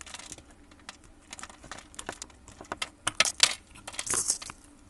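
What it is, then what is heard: Bar of soap being cut. A metal blade pops small cubes off a solid brown grid-scored soap bar held in a gloved hand. The result is a run of crisp, bright, crackling snaps and crumbling ticks, with several louder pops near the end.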